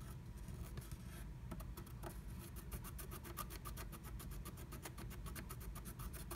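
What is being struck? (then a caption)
Black-coated scratch art card scraped with a wooden stylus. A wooden stylus scratches a black-coated scratch art card inside a small heart cutout of a blue plastic stencil. Quick, repeated dry scratching strokes give bright, crisp rasps over a steady low rumble. The strokes speed up and run close together toward the end.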